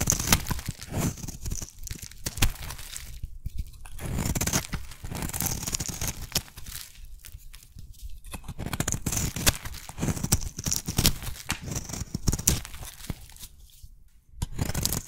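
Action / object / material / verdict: scrape / bar of soap / soap / none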